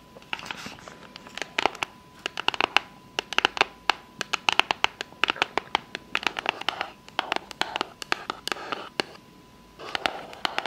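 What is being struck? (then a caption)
Small cardboard gift box. Long fake nails tap and scratch the lid of a small, closed, hollow rectangular pink cardboard gift box with a unicorn print, which is then held up in one hand. Quick, bright, dry clicks come in rapid bursts with soft scratchy rustling between them and a few brief pauses. A faint steady tone sits underneath.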